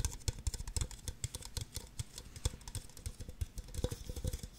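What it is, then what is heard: Empty plastic cups tapped with nails. Long nails tap and scratch quickly on the bases and sides of two identical empty, hollow red plastic party cups. A rapid, uneven run of short, dull, low thumps mixes with bright, clicky scratching, and each tap dies away almost instantly.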